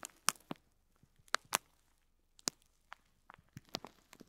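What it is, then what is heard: Plastic film crinkled over faux pearl beads. Fingertips with short nails press and rub the clear plastic film wrapped around an elongated bundle of small white plastic faux pearls lying on cloth, crinkling the film. Quiet, irregular bursts of sharp, bright crackles and crinkles come in scattered clusters, each snapping off almost instantly, with near silence between them.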